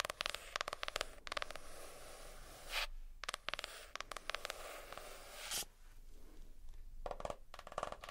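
Fingernails tap and scratch the cardboard cover of a hardcover notebook. Quick bursts of crisp, dry taps alternate with longer stretches of steady, hissy scratching that stop abruptly. Each tap dies away almost at once.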